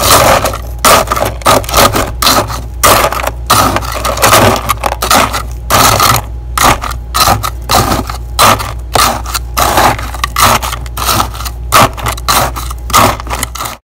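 A gloved hand scrapes and scoops thick white freezer frost and ice crystals packed in a clear plastic container, using a hard blue plastic scoop. Repeated gritty, crunching scrape strokes come in uneven bursts, with a bright hiss and a steady tone near 1.3 kHz. A low hum runs underneath throughout.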